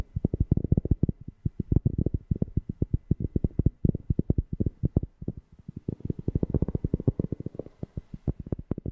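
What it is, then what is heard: Cork being tapped. A cork object is tapped rapidly close to a FIFINE K690 microphone, giving about 57 short, deep, bassy thumps with almost no ring. The taps come in quick bursts with a brief pause just before the six-second mark.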